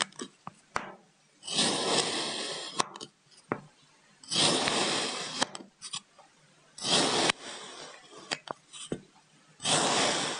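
A small solid brick of purple kinetic sand on a wooden table is sliced into thin slabs with a white ceramic knife. Four long, bright, gritty scraping bursts are heard as the blade cuts through the sand, with short sharp clicks and taps in between.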